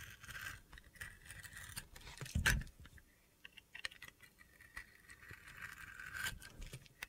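A utility knife shaves the rainbow glitter coating off a hand-held solid bar of soap, exposing the white soap underneath. Gritty, crunchy scraping strokes repeat throughout, with a louder burst partway through and quieter pauses between strokes.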